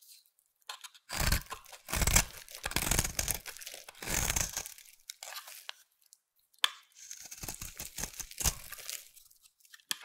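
A utility knife blade carves and scrapes a solid pink oval bar of soap held in the hand. Bursts of dry, crunchy tearing and scraping repeat in an irregular rhythm, with a bright hiss and a soft low body, separated by short quiet gaps and one sharp click partway through.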